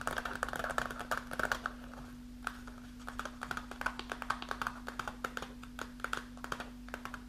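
Long nails scratch and crinkle a kraft paper snack pouch with a clear window showing dried mulberries. Rapid crisp taps and papery crackles come in dense bursts, with a bright, rustling mid-high tone over a steady low hum.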